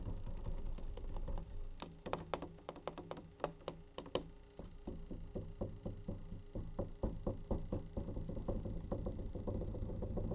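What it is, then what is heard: Plastic bleach tray tapped. A plastic bleach tray is tapped repeatedly in quick, uneven bursts of short, dry knocks with a hollow tone, over a steady low hum.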